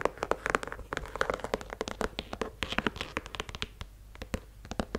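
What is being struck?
Leather sneaker with rubber sole.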